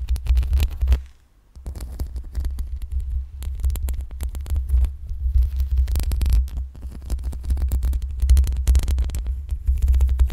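Long pink acrylic nails scratch the sides and top of the hollow metal mesh grille on a black USB microphone. A deep, throbbing rumble around 66 Hz runs under dense, crackly scraping bursts, with a brief quiet gap just after the first second before the scratching resumes steadily.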